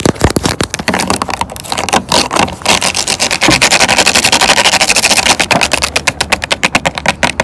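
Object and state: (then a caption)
Plastic water bottle tapped and scratched with nails. Long orange acrylic nails tap and scratch the ridged sides of a clear, hollow plastic water bottle full of water, first lying and then standing on a wooden bench. The result is a fast, crisp stream of bright clicks and scratchy rasps that blur together in the middle and separate into sharp, distinct taps toward the end.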